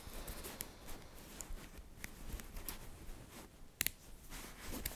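Fingers with long nails pull apart and snap together small, solid, green-coated magnetic metal balls arranged in a bracelet shape. The result is soft, quiet rustling and tapping against a low, steady rumble, broken by sharp, bright clicks that stop almost instantly, with a brief double click near the four-second mark.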